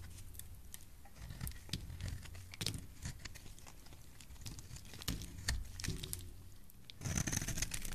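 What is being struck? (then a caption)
Bar of soap scraped with a metal blade. A metal blade scrapes and shaves a solid, palm-sized rectangular white bar of soap held in one hand with lilac nails, peeling curls of soap off its surface. Irregular dry scraping and crisp, bright ticks sit over a low rumble. The cutting grows louder and denser near the end.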